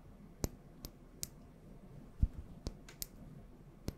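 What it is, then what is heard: Small glass oil bottle. Long nails tap on a small glass bottle with a gold cap, filled with yellow oil, close to the mic. About eight sharp, bright clicks land at an uneven, unhurried pace, each dying away almost at once, over a soft low background rumble.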